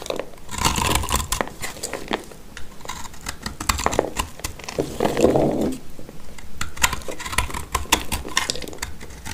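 A black utility knife blade cuts and scrapes a solid, dry, palm-sized blue-green soap chunk held in the hand, breaking it into crumbly flakes. Dense, dry crunching and scratchy scraping come in close, rapid bursts with sharp crackling ticks. A brief, fuller midrange scrape swells around the middle of the clip.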